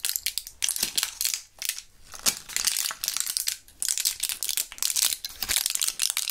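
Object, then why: Plastic blister pack with foil backing. Gloved fingers turn, squeeze and crinkle a small plastic blister pack of purple Thrills gum with a foil backing. The result is dense, bright crackling and crinkling in bursts of short snaps that die away almost instantly, with almost no low end.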